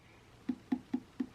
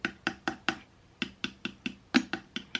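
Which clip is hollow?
The second.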